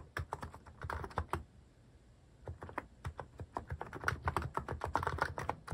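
Fingertips type on a Hanmumu mechanical keyboard fitted with cat-shaped plastic keycaps, producing about 29 short, crisp clacks with a soft low thump under each. A burst of keystrokes is followed by a brief pause near the middle, then a denser, faster run. Each keystroke dies away almost instantly.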